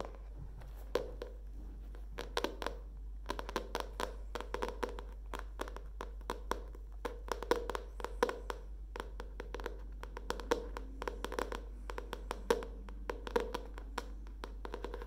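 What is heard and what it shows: Long nails tap and scratch the leaf-print cardboard cover and edge of a hardcover spiral notebook held in both hands. Quick, dry clicks come in uneven bursts over a steady low hum, mixed with soft scraping.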